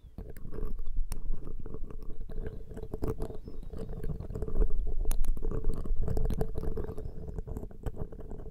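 Thin metal ear picks held in both hands scratch and poke the two small hollow metal mesh capsule grilles of a Zoom H6 X/Y microphone. The result is a dense, irregular run of low, rumbling scrapes and soft taps with a faint steady hum, peppered with sharp, bright clicks that cut off almost instantly.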